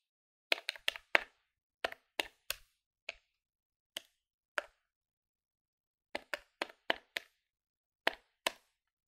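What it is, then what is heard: Plastic calculator keys. A plastic electronic calculator is held in one hand above a wooden table, and its plastic keys are pressed with fingertips and nails. About nineteen short, dry, bright clicks come in quick irregular bursts with brief pauses between them, and each click dies away almost instantly.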